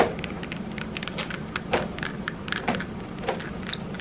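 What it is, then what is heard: Mirrored glass disco ball ornament. A small hollow disco-ball Christmas ornament covered in tiny mirrored glass tiles is held in both hands while long red acrylic nails tap and scratch across the tiles. Quick, light clicks and brief bright ticks sit over a soft, steady scratching texture, coming at an irregular pace.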